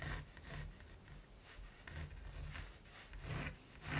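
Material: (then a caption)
Canvas. A mechanical pencil tip scratches short strokes across a large, flat, textured primed canvas. The clip is a quiet series of soft, dry rasping strokes, each with a low rumble beneath a bright, papery hiss, rising and fading as the pencil moves.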